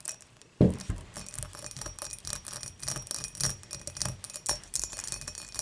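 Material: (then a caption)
Glass. Long matte nails tap and scratch the base and rim of an empty, clear dimpled glass beer mug tilted on its side. After a brief quiet start, a sharp tap with a low thud opens a steady run of quick, bright clicks and light scraping with short glassy rings.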